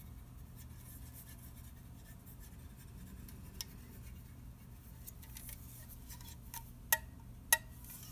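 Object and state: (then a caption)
Aluminium soda can, tapped and scratched. An unopened red aluminium soda can is turned in the hand while fingernails scratch and tap its side and lid. Quiet, soft scratching runs over a low steady hum, broken by a few short, bright metallic taps that ring only briefly. The two sharpest taps come near the end.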